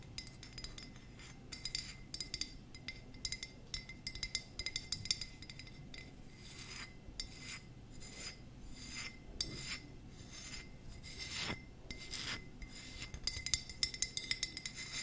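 Long nails scratch and tap the glazed surface of a small hollow ceramic jack-o-lantern tealight holder with a carved face and a light inside, held in the hands. Soft, bright clicks and rasping scrapes come in quick, uneven bursts, each tap dying away almost at once.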